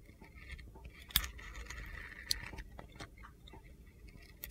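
A utility knife blade scrapes strips off a handheld solid red glitter soap bar studded with stars. A soft, gritty scraping runs throughout, broken by a few sharp, crisp clicks as the blade cuts in and the soap strips come away.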